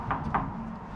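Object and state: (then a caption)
Solid steel car wing. Two knocks on the steel wing (fender) of a 1930s Cord classic car, each a short dull tap with a brief ring, sounding solid rather than like a lightweight body.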